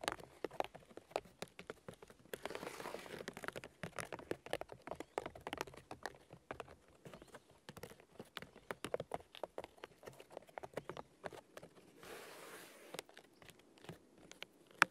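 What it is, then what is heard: Birch log bark tapped with fingernails. Fingernails and fingertips of both hands tap rapidly on the white bark of a large, solid birch log, making quiet, dry clicks with no ring. Brief stretches of soft, bright scratching rise between the dense taps.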